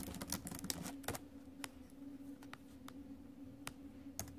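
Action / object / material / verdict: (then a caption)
tap / laptop keyboard, plastic keys in a metal body / plastic / none. Fingertips and nails tap the plastic keys of a silver metal laptop while typing. A quick run of sharp, bright clicks at the start thins out into sparser, irregular taps over a steady low hum, each click dying away almost instantly.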